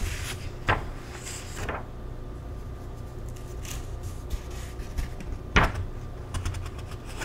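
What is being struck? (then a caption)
Paper cookbook pages. Fingertips pinch the corner of a single paper page in an open paperback cookbook and turn it slowly, close-up. Brief dry, crisp rustles of paper flare up over a steady low hum, with the sharpest crackles near the start and again past the middle, followed by softer light flutters.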